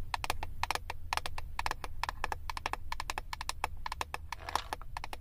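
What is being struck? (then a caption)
Clear plastic eyeshadow palette lid tapped with acrylic nails. Long acrylic nails tap rapidly on the clear plastic lid of a flat eyeshadow palette. It produces a quick run of sharp, dry clicks with a hollow plastic tone around 1 kHz and bright tops, each dying almost instantly over a steady low hum.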